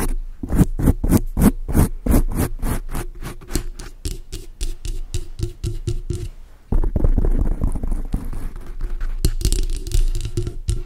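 Long acrylic nails scratch fast over a large dark grey foam windscreen on a microphone, making quick, evenly spaced muffled strokes. After about six and a half seconds the scratching turns into a denser, louder, continuous rustle. The sound stays dull and mostly low, with very little high end.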